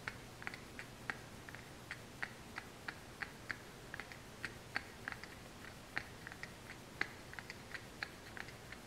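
A small, hollow brown kraft cardboard supplement box with a printed label is held in hand and tapped and scratched with long nails. About 27 quick, dry clicks and taps with a bright, papery edge sound over a faint, steady low hum, each dying away almost at once. The result is a quiet, irregular stream of crisp cardboard taps.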